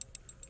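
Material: Metal.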